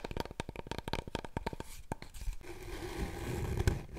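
Fingernails scratch and rub along a large, long, hollow, empty brown cardboard paper roll core, held upright and then horizontally. A quick run of sharp, dry scratching clicks comes first, then settles into a steady, hollow rubbing sound with a low, resonant rumble.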